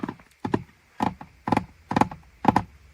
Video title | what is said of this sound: ASMR in some JDM Cars | it's got a nice hollow tapping sort of sound to it